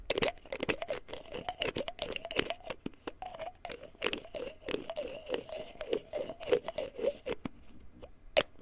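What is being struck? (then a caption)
Small plastic pill bottle. Fingertips and nails tap, scratch and handle a small white plastic pill bottle with a printed label, likely holding pills. The result is a quick, irregular run of crisp, dry clicks and scraping crinkles over a hollow plastic resonance in the mid range, with bright ticks on each nail strike. One sharp tap near the end is the loudest hit.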